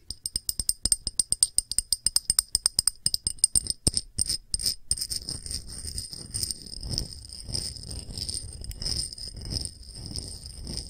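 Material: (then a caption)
Glass. A small clear glass dish with a solid glass rim and bead feet is held edge-on while a fingernail taps quickly along its edge. Crisp, bright clicks with a high glassy ring come first as separate taps, then run together into a faster, softer, continuous patter with low thumps underneath.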